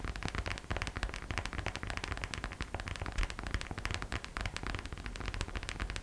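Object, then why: Small hollow glitter vinyl purse. Long nails and thumbs tap quickly on the sides and front of a small, hollow, glossy gold glitter vinyl purse shaped like a gingerbread figure, held by its arms, with a gold heart charm attached. The result is a dense, continuous patter of short, crisp ticks over a hollow low thump, with no pause across the six seconds.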